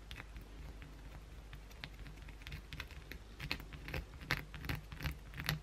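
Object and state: Bar of soap.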